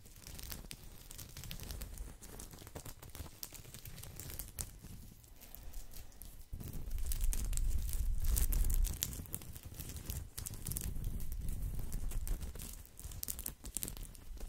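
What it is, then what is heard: Woven straw coaster. A round, flat woven straw or rattan coaster, a thin solid disc held in one hand close to the mic, is scratched and rubbed with fingertips and nails. The result is a dense, fast, steady stream of dry crackling and crinkly scratches with a heavy low rumble underneath. The sound swells louder and fuller through the middle before easing back down.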